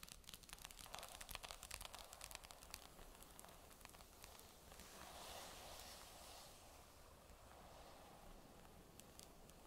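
Long nails tap quickly on the flat magnesium back casing of a grey Surface tablet lying face down, giving bright, clicky taps with an added echo. The taps are dense and busy for the first few seconds, then give way to a softer, hissy scratching swell with only occasional clicks to the end.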